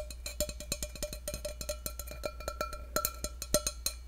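Fingertips tap the outside of an empty stainless steel tumbler held above a microphone, producing a rapid run of short, bright metallic clinks with a ringing tone around 600 Hz. A steady low hum runs underneath throughout.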